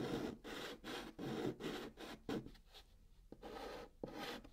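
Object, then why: Chalk on cardboard box. A hand makes short, repeated strokes with pink chalk inside a curved band on the surface of a hollow brown cardboard box. Each stroke is a dry, raspy scratch with a midrange body, coming in quick bursts that fade briefly to a softer, lighter scraping before picking up again toward the end.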